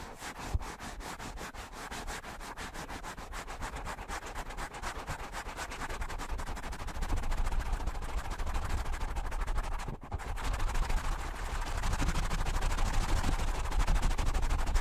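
Fingertips rapidly rub and squeeze the soft foam of two matching black foam windscreens on stand microphones, producing dense, fast crackling and scratching with a strong low rumble underneath. The rubbing grows louder after the first half, dips briefly, then continues steadily to the end.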